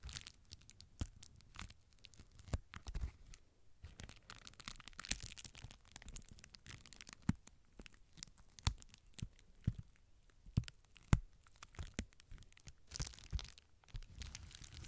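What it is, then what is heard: Plastic bubble wrap being crinkled. Fingertips with nails pinch and crinkle the air-filled bubbles of a clear plastic bubble wrap sheet held upright. The result is a steady stream of dry, close crinkling and crackling, punctuated by sharper, louder snaps and brief bright bursts.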